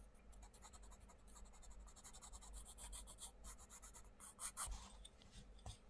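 A wooden coloured pencil tip is rubbed and scratched across the printed paper page of a flat, open paperback colouring book on a wooden table, in short colouring strokes while the other hand holds the book. A quick, continuous run of dry, bright scratching strokes sounds over a steady low hum. A few louder, sharper strokes stand out near the end.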